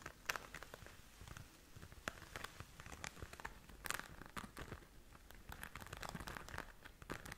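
A flat pink glitter-covered zip pouch, soft and hollow and held in both hands, is scratched and tapped with long nails on its glitter surface. The result is quiet, close, crackly scratching and crinkling with dry, short taps and brief bright ticks scattered throughout.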